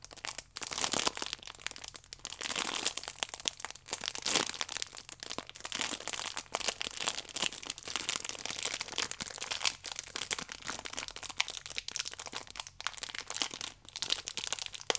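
A small stack of yeast sachets wrapped in clear plastic film with a red band is turned in the hands while long nails scratch and squeeze the film. The result is dense, continuous bright crinkling and crackling with short sharp crunches and almost no low end.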